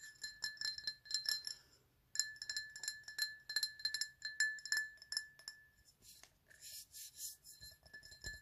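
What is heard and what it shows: A medium, empty black ceramic mug with a handle and a white PlayStation logo is held in the hand and tapped with fingertips and nails. The taps come as quick, light clinks with a bright, short ring, pausing briefly near the two-second mark. In the last few seconds they turn softer and duller.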